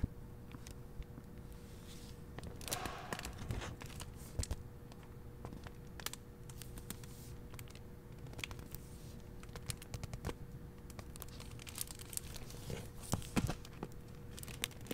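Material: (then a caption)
Plastic. A hand handles the flap of a hardcover library book's paper dust jacket and bends the clear plastic protective sleeve over it. The result is soft, dense crinkling with many quick, sharp crackles and occasional brighter bursts. A steady low hum sits underneath.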